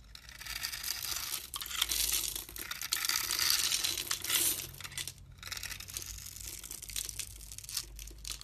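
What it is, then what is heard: Bar soap being carved. A solid, hand-sized blue and white striped bar of soap, held in the palm, is grid-scored and shaved with a metal blade so that small cubes break off. The result is a dense, bright, crinkly scraping and crunching texture with a brief quiet gap partway through.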